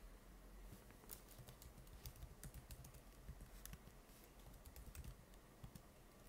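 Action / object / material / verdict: tap / plastic laptop keyboard keys / plastic / none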